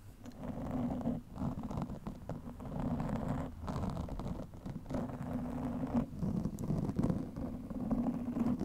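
Long nails scratch fast over a soft, porous black foam windscreen covering a microphone. The result is a dense, muffled, continuous rustling and scraping, heavy in the low end with a steady hum-like band near 190 Hz and almost nothing bright. The texture comes in bursts with brief dips between them.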